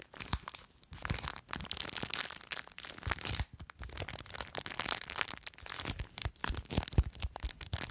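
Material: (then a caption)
Plastic. A small clear plastic bag full of blue foam beads is held near the mic while long nails scratch and squeeze it. Dense, bright crinkling and crackling rustles come in irregular bursts with brief pauses, mixed with soft low thumps from the handling.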